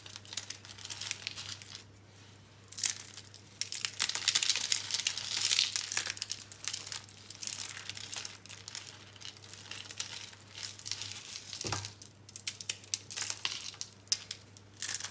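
Bare fingertips and palms crush small, hollow rolled curls of dry green-and-pink recycled soap into crumbs on a blue surface. Dense, bright, dry crackling and crunching come in irregular bursts over a steady low hum, and the curls break down into crumbs.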